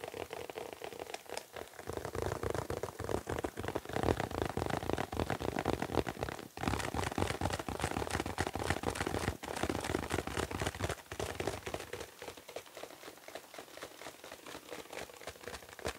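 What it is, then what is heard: Foil birthday balloon. A printed foil (mylar) birthday balloon, hollow and air-filled on a stick, is gripped in both hands and tapped and rubbed with the fingertips, then held right against the camera at the end. The result is a dense, steady stream of crinkly, crackling taps and scratchy rustles with a bright, noisy edge and a faint low thump under it, with brief dips in between. It grows quieter and thinner over the last few seconds.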